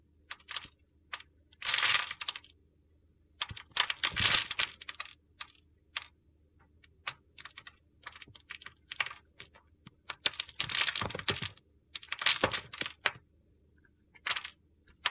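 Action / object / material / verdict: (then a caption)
scrape / bar of soap scraped with a metal blade / soap / none. A solid, oval, translucent red bar of soap held in the hand has its cross-hatched surface sliced and scraped with a metal box cutter blade. Crisp, crunchy cuts come in quick, bright bursts of crackling separated by short pauses, with almost no low end.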